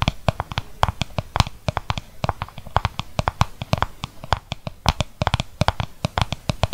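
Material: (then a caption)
Plastic. A small, hollow, translucent plastic mixing bowl, empty apart from purple mask residue, is held tilted close to the microphone while its outside is tapped and scratched with fingertips and nails. Rapid, irregular dry taps with a hollow low thump and bright clicky tops die away almost instantly, over a soft scratchy rustle.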